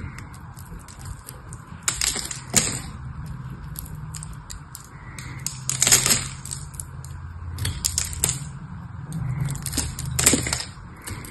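A small, dry, solid pink soap bar is held in the hand and scraped and cut with a metal knife, breaking off flakes. The result is dry, crisp crackling and scraping with bright, brittle snaps, rising in louder bursts every couple of seconds over a soft low rumble.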